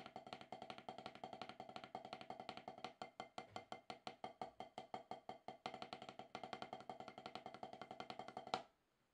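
Wooden drumsticks tap rapidly on a solid, octagonal HQ rubber-top snare practice pad during drumming practice after more than ten years away. About 74 dry, even taps with a tonal knock near 750 Hz and a very short ring. The taps end with one louder final hit, then silence.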